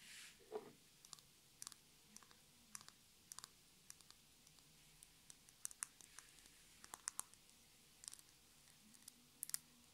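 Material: Glass.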